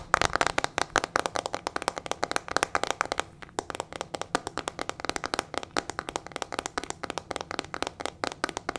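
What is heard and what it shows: Long nails rapidly tap and scratch the back of a hollow, teal plastic paddle hairbrush with metal-tipped bristles. The result is a fast, steady stream of sharp, dry, clicky taps with almost no ring, broken by a brief lull just after three seconds.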